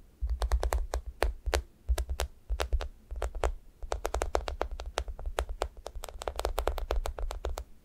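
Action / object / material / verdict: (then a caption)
tap / foam squishy toast toy / foam / none. Long nails poke, tap and scratch the top of a thick, solid, sticky foam squishy toast. The result is a rapid run of short, soft, dull taps with brief bright clicks over a steady low rumble, each tap dying away almost at once.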